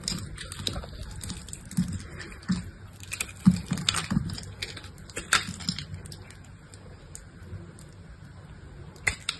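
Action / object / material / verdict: scrape / bar of dry soap cut with a knife / soap / none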